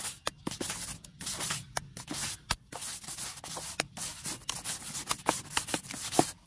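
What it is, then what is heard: Tree log with bark, scrubbed with brushes. Two handheld scrub brushes with white and pink plastic bristles scrub and rub fast across a large, solid, rounded log or trunk with rough grey bark. The result is a quick run of bright, scratchy brushing bursts broken by short gaps and sharp clicky hits, with little low end.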